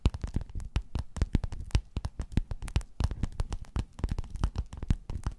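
Long nails scratch and tap across a flat, padded, gold metallic quilted faux-leather cover. The result is a rapid, uneven run of about 35 soft, dull taps, mostly low and thumpy, with brief bright scratchy clicks. Each tap dies away almost instantly.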